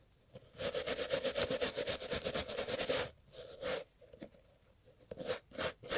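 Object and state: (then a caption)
Leather and textile loafer being brushed. A gloved hand holds a brown Italian leather loafer with cream textile panels while a small bristle brush scrubs the textile and leather. A quick run of steady, bright scratchy brush strokes lasts about two and a half seconds, with a faint midrange hum beneath. It is followed by a few shorter, separate scrubbing bursts.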